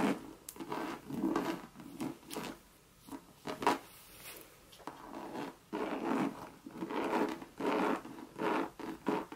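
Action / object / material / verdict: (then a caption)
scrape / coated canvas handbag / coated canvas / none. Long red nails scratch the side of a Louis Vuitton monogram coated-canvas bucket bag. Dry, rasping strokes come in bursts, with short quiet gaps between them. The sound is mostly mid-range with little low end.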